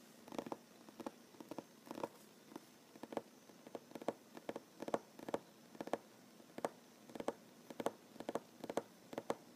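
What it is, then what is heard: Solid wooden tabletop. A solid wooden tabletop is tapped with short fingernails, giving quick, dry clicks in a steady irregular stream with almost no ring. The taps sit in the mid range around 550 Hz and are very quiet against a faint hiss.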